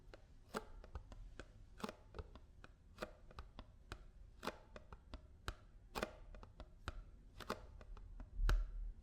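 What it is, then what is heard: Paper drink carton tapped. A paper almond milk carton is tapped with fingers and nails in a quick, uneven rhythm, producing short, dry clicks and taps. The taps have a hollow papery knock and a brief ring. A slightly louder tap lands near the end.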